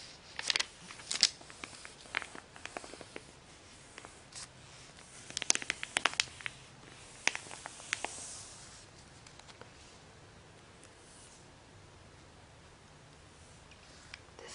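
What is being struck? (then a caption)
Glossy paper magazine pages. A flat hand and fingertips with long painted nails rub and stroke across the pages of an open glossy paper magazine lying on a bed. Quiet, bright, crisp rustling and papery swishes come with sharp little ticks and scratches, clustered mostly in the first half. Toward the end they thin out to a faint, airy hiss.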